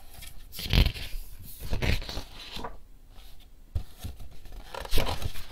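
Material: Paper.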